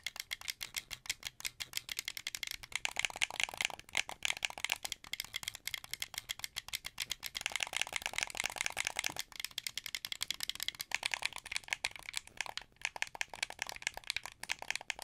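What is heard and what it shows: A hand-sized, hollow, translucent blue plastic wired Xbox 360-style game controller is held in both hands while fingertips press and click its buttons and triggers. The result is a dense, fast stream of short, dry, rattly plastic clicks. The clicks are bright and high with almost no low end, some bursts come quicker and louder than others, and each click dies away instantly.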